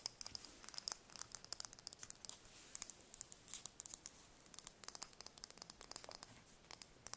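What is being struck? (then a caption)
Chicken eggshell. A small whole brown chicken eggshell held in the hands is tapped and scratched by long nails. Many quick, dry, bright clicks and scratchy bursts come in fast, uneven succession with almost no low end. Each stroke dies away instantly, and the level stays quiet throughout.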